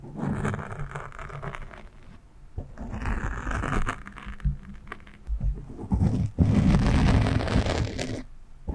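A fingernail on one hand scratches the sides and top of a black foam windscreen on a microphone. The result is dense, rough, low, rumbling scraping in bursts of varying speed, with brief quieter gaps around 2, 4.5 and 6.3 seconds. The loudest, fullest stretch of scratching comes near the end.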